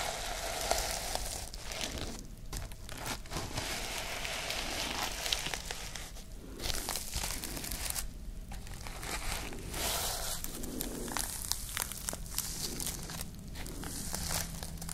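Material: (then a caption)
Plastic sequins. Long nails scratch and rub the reversible plastic sequins on a sequin-covered notebook held upright, flipping them between pink and silver. The result is a steady, dense crinkling and rustling with bright, scratchy texture and soft low rumble, broken by a few brief quieter gaps.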